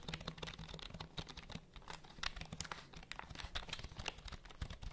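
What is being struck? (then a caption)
Plastic computer keyboard. A black plastic computer keyboard is held close to microphones while long nails tap its keys and scratch its surface. The result is a quick, uneven run of sharp, bright clicking taps with soft scratching between them, over a steady low hum.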